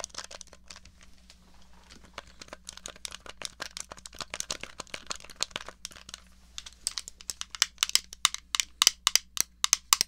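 Long nails tap and scratch the shell of a small, hollow grey plastic NES controller. Soft, scratchy crinkling gives way to sharp, bright, dry clicks that come in an irregular, quick patter and grow louder toward the end. A faint, steady low hum sits underneath.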